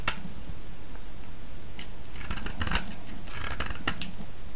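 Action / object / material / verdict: scrape / bar of soap / soap / none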